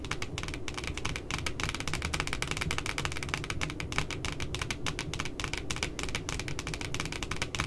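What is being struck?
Spiral paper notebook with laminated cardboard cover.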